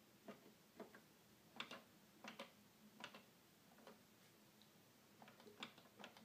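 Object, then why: Plastic toy keyboard keys. Fingers tap the black and white plastic keys of a hollow red plastic toy keyboard, producing short, dry clicks at an irregular pace. Each click is quiet and brief with almost no ring, carrying a hollow mid tone under a sharp, bright snap.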